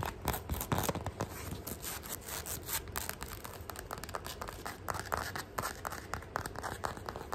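Long fingernails and fingertips scratch quickly along the chevron tread of a beige ribbed rubber sole on a flat shoe, held close. The result is a dense run of fast, crackly scratches and soft taps that stay steady for the whole clip, with a low thumpy body and bright raspy edges.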